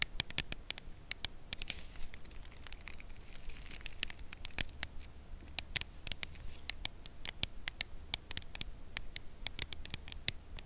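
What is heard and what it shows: A full red Lindor cardboard chocolate bar box is held edge-on and tapped with long nails. Many short, sharp, bright clicking taps come in an irregular patter, each dying away almost instantly. A steady low hum runs beneath, with a faint soft rustle in places.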